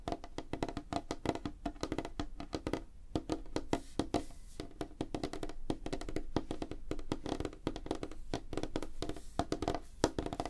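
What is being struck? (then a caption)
Light wooden tabletop. Fingertips and nails of both hands tap rapidly on a flat, solid, light wooden tabletop. The result is a dense stream of short, dry knocks with a woody tone around 300 Hz and soft clicky edges. Each tap dies away almost instantly, with brief pauses between bursts.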